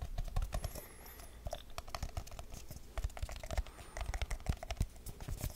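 A small, round, hollow aluminium tin with its lid on is held in the hand and tapped quickly with fingertips and nails across the lid and sides. The result is a rapid, uneven run of short, dull clicks and taps with a low, hollow body, some sharper nail ticks, and faint high squeaks.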